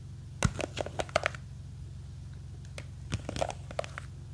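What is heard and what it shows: Long green fake nails grip and scratch a small clear plastic jar full of blue gel beads, making quick, dry clicks and scrapes. The sounds come in two short flurries over a steady low hum.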